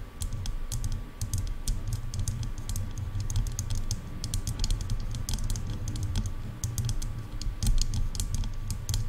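Long nails tap quickly on the sides of the hollow plastic earcups of over-ear headphones. The result is a fast, continuous run of short, bright clicks over a dense, low, hollow thumping, with a faint steady tone beneath. The taps stay fairly even in level throughout.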